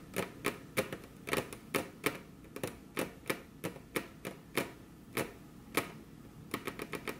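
Very long, curved natural nails tap with their tips on a flat, solid, glossy dark-brown wood-grain table top while the hands rest crossed on the table. About 23 crisp, dry clicks with a bright edge and a light hollow knock are heard, each dying away almost instantly. The taps come quickly at the start and end and more sparsely in the middle.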